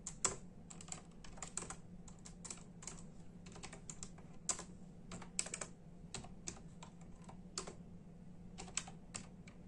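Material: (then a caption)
Plastic. A full-size black and silver plastic membrane keyboard with hollow keys is typed on with the bare fingertips of both hands in a steady tapping. Quick, bright, hollow clicks come in uneven bursts and die away almost instantly, over a quiet, steady low hum.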